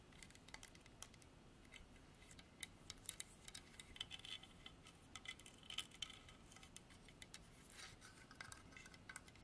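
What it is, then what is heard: Carved hardwood horse statue tapped with nails. Long artificial nails tap rapidly on a solid, dark hardwood carved horse statue. The quiet, bright, dry clicks patter in quick irregular bursts with no ring, over a soft background hiss.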